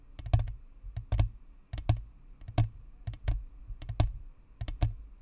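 Long fingernails of both hands tap around the top and sides of a white spherical Blue Snowball microphone, a hollow plastic ball with a perforated metal grille. Quick clustered clicks come in uneven bursts over a deep, hollow thump, each with a bright crisp edge that dies away almost at once.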